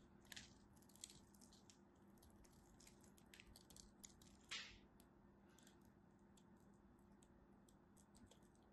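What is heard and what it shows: A small solid blue bar of soap is held in the hand and carved with a black craft knife blade, sending chips crumbling off. Quiet, dense crackly scraping and crunching runs throughout, with bright crisp snaps standing out near the start and a louder crunch about halfway through.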